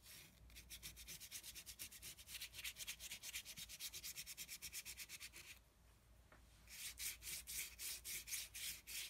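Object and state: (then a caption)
Dry brush scrubbing on heavy painting paper. A small flat brush with a yellow handle is scrubbed back and forth on a flat sheet of thick, heavy painting paper on a table, dry-brushing dark paint over a pink area. Quick, steady, bright scratchy strokes hiss across the paper. They pause for about a second near the middle, then resume just as briskly.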